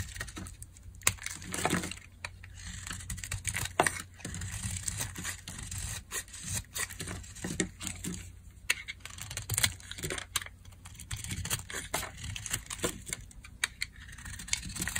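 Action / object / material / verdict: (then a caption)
scrape / bar of soap / soap / none. A metal blade carves brittle, dry curls off a solid cream-white bar of dry soap held in the hand. Scraping and crisp crackling come in dense bursts with many sharp clicks and flakes snapping off, bright at the top over a low background rumble.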